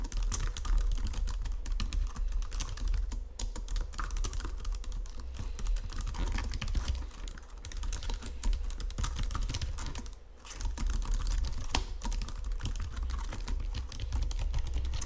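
Fast typing on a white plastic Logitech keyboard resting on marble, with fingertips and nails tapping and pressing the keys. The result is a dense, continuous stream of quick clicks over a heavy low thump, with brief lulls around seven and ten seconds.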